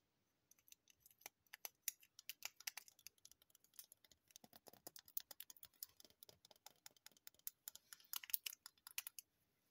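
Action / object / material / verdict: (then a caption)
tap / wax pillar candle with paper label / wax / none. Long painted nails tap and scratch a large, solid yellow wax pillar candle and its paper label. The result is a dense stream of quick, dry, bright clicks and scratchy brushes that die away almost instantly, with no low end, over nearly ten seconds.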